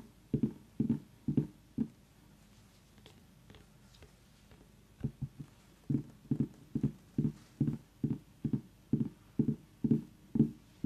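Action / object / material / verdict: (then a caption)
tap / small whole pumpkin rind / pumpkin rind / none. A tiny whole orange pumpkin, about the size of a fist and a solid gourd, has its rind tapped and scratched with long nails. A quick run of hollow, low-pitched taps gives way to a quiet stretch of faint scratching. Then the tapping returns in a steady, rhythmic series of dull knocks.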